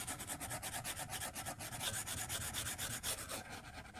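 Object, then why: Plastic stylus on glass tablet screen. A white plastic stylus tip scratches and strokes across a flat glass iPad screen resting on a desk while drawing. Quick, uneven back-and-forth strokes make a soft, bright, scratchy rubbing hiss that rises and falls with each stroke, over a faint low rumble.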